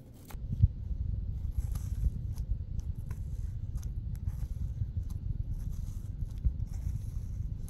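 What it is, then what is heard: Apple flesh scraped by fingernails. Long glitter acrylic nails dig into a red apple opened at the top and scrape its crumbly inner flesh. A steady low, dense rumble of scraping runs throughout, broken by short, sharp, bright clicks and crunchy flecks.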